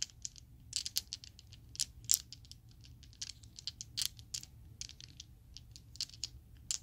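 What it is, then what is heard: Plastic dice shaken in the hand. A small set of solid purple Chessex plastic polyhedral dice is shaken in an open palm so the dice clack together. Bursts of short, bright, high clicks and rattles come in uneven clusters over a quiet, faint low hum, each tick dying away almost instantly.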